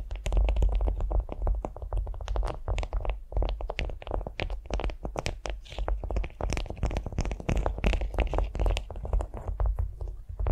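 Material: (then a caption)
Waxed cotton. Long nails scratch and tap a beeswax-coated cotton food wrap lying flat on a vinyl mat. The result is a dense, continuous stream of quick crinkly scratches and soft taps with a heavy low-end thump and very short decay.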